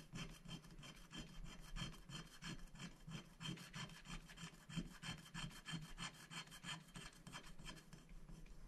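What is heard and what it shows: A wooden stick scratches the black coating off a thin, flat paper scratch-art sticker sheet lying on a glass board, working in short strokes. The result is a steady run of dry, raspy scrapes, about three per second and somewhat uneven, with a soft low thump under each stroke and a bright, hissy texture on top.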